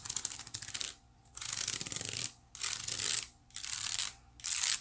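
Long nails scratch and flick over the woven strands of a small, hollow, white woven wicker basket. The sound comes in five bursts of bright, crackly scratching separated by short silences, with very little low end.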